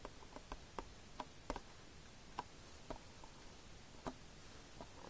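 Fingertips tap the glossy front cover of a hollow Fullmetal Alchemist plastic DVD case lying flat. A series of soft, irregularly spaced, dry clicking taps stops almost instantly. The taps sit over a quiet, low background hiss.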